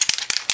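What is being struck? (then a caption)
Aerosol spray can with mixing ball. An aerosol can of texturizing spray powder is shaken before use, and the small mixing ball inside rattles against the can. It makes a few quick, bright, high clicking bursts with almost no low end and very little ring after each shake.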